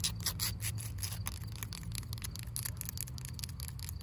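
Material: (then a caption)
Wood. Long pink acrylic nails scratch and tap a solid, grey, weathered wooden fence post with a knot outdoors. A rapid, steady stream of short, bright scratchy clicks runs throughout. A constant low rumble sits underneath.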